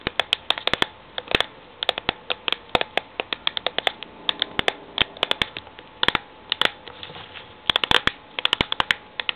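A medium cylindrical steel Milo powder tin with a green paper label stands on a laptop while long painted fingernails tap and scratch its labelled side. Dozens of sharp, dry clicks come in quick bursts and scattered single taps, bright and crisp with almost no ring. Between them, soft scratching rasps against the paper label.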